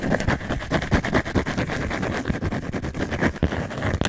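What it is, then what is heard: Cork coaster. A round, thick, solid cork coaster is held in the hands close to the mic and scratched and tapped with long manicured nails. The result is a fast, irregular stream of dry scratches and soft taps with a low, muffled body and very short decay, continuing steadily throughout.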